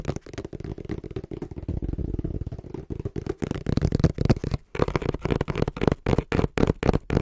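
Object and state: Cardboard box.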